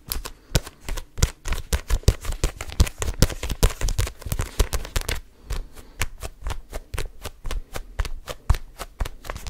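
Fingertips grip a red paperback book and riffle and flick its paper pages, producing a rapid run of short, dry ticks and papery flutters over a soft low thump. The flicks come in a dense, irregular burst, ease briefly around the middle, then continue in a steadier, evenly spaced patter of crisp, bright snaps.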